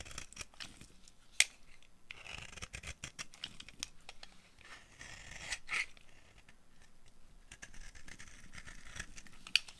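A dry, solid orange bar of soap held in the hand is shaved with the blade of a yellow-handled utility knife. It makes quiet, bright, crisp scraping strokes, with a few sharp clicks standing out along the way.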